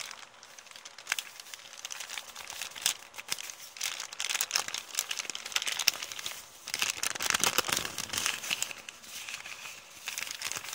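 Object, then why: Kraft paper bag. An empty printed kraft paper shopping bag with blue print is held flat and scratched and crinkled with long painted nails. The result is a steady stream of bright, dry crackling and rustling with many quick, sharp clicks and almost no low end, swelling and easing in bursts across the clip.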